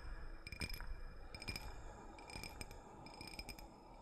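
A small, empty, clear drinking cup, likely glass but possibly clear plastic, is held in both hands close to the mic and tapped and scratched with fingertips and fingernails. Bright clinks with a short glassy ring come in irregular clusters over a soft, steady scratching rustle.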